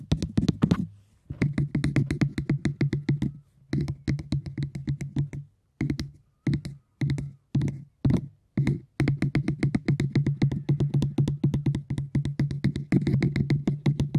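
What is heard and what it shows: Fingers tap on cork in quick, steady runs broken by short pauses. Each tap is a dull, low knock with a faint wooden tone and almost no ring, and the runs keep up an even, drum-like rhythm.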